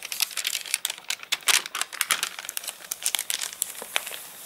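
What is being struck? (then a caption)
Paper catalogue pages. An open paper catalogue whose pages have dried stiff and crinkled after getting wet in the rain is rubbed and pressed flat with a palm and fingertips. Dense, bright crinkling and crackling comes in quick overlapping bursts with no low end.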